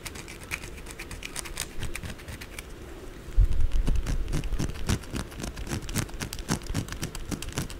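Long blue acrylic nails rapidly tap and scratch the edges and corners of a white solid soap bar held upright and turned. The result is a fast, uneven patter of short, dry clicks and scrapes with soft low thumps underneath, growing louder partway through and continuing steadily to the end.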